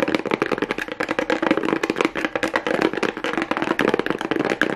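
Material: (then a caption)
Cardboard. A small hollow cardboard box with a pink plastic rhinestone strip, turned over to its plain cardboard side, is tapped and scratched rapidly with fingernails. The result is a fast, dense run of dry, papery taps with a hollow midrange body and short scratchy texture. Each tap dies away almost instantly.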